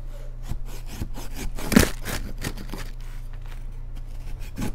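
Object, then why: Pressed baking soda cake scraped with a knife. A metal knife blade cuts and scrapes across the top of a round, solid cake of baked, pressed white baking soda topped with colored glitter, while a hand steadies the cake. Repeated dry, gritty rasping strokes are heard, with one louder crunchy scrape near the middle and a steady low hum underneath.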